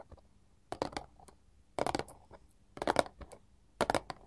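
A small, flat, printed paperboard chocolate box lying on a marble table is tapped by both hands wearing long gold filigree metal claw jewelry. Four bursts of quick, dry, clicky taps arrive about once a second, each a bright, crisp flurry that stops short with almost no ring. Faint, softer taps fill the gaps between bursts.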